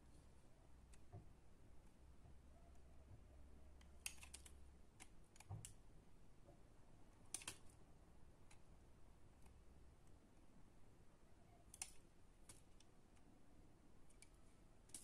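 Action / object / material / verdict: scrape / solid bar of soap cut with a utility knife / soap / none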